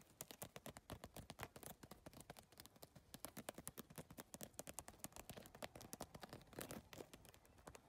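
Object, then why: Handbag covered in rigid plastic tiles. A hollow, closed handbag covered in rigid iridescent triangular holographic PVC tiles on a flexible backing is tapped and scratched fast with long painted fingernails. Dense, rapid clicks and taps run throughout, with sharp, bright attacks that die away almost at once, plus a few brief scratchy passages.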